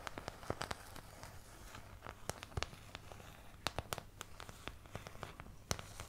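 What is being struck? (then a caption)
Thin plastic paint palette. Long painted nails scratch and tap the surface of a medium oval white plastic paint palette with round and triangular wells, thin, hollow-backed and empty, held upright in front of the mic. Quick, dry, bright clicks and taps pop out irregularly over a soft crackling scratch and a faint low hum, each tap dying away almost instantly.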